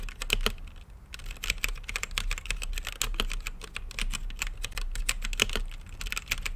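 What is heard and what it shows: Fingertips type steadily on a green-lit mechanical keyboard with plastic keycaps in a clear acrylic case. The result is a fast, continuous run of short, sharp clacks that stop almost instantly, with a bright click near 3 kHz and a faint low hum underneath.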